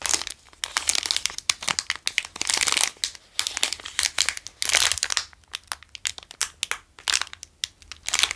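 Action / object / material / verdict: scrape / plastic pastry wrapper / plastic / none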